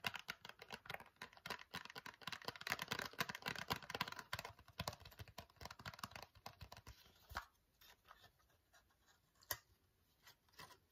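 Fingernails tap rapidly on a small, hollow Nair cardboard wax strip box, making dense, dry, bright clicks with almost no ring for about seven seconds. The tapping then thins into scattered soft taps and a sharper snap as the box's lid flap is opened at the end.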